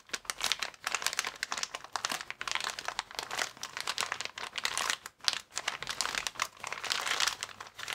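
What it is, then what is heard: Plastic air column cushion bag crinkling. A transparent, air-filled plastic air column cushion bag, the inflated packaging with vertical air columns, is squeezed and rubbed with fingertips. It gives a dense, continuous run of sharp, bright crinkles and crackles that rise and fall in bursts with almost no low end, and each crackle cuts off instantly.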